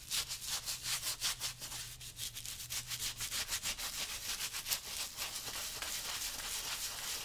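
A small stiff-bristle brush with a wooden handle, held in the fingertips, scrubs back and forth over a worn brown leather lace-up work boot lathered with saddle soap while the boot is on the customer's foot. Quick, bright, hissy bristle strokes repeat about three times per second in an uneven rhythm, each stroke cutting off sharply. A faint low hum sits underneath for the first few seconds.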